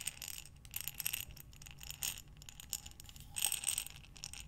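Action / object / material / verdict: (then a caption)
shake / glass jar filled with buttons / glass / none. A glass mason jar with a metal lid, filled with buttons, is held sideways and slowly rotated by hands with long dark nails. The buttons tumble and clink against the glass in quiet, bright, rattling bursts with short glassy ticks and chime-like glints, over a faint low rumble.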